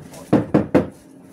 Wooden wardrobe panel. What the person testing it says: Kayunya juga masih solid semua.